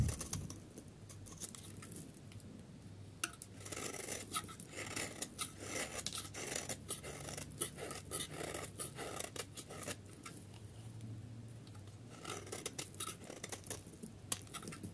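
A solid yellow dry bar soap is held in the hand while its end is scraped with a metal utility knife blade, making crumbly shavings. A steady run of dry, gritty scratching and scraping is heard, with many short bright crackles over a low, faint hum.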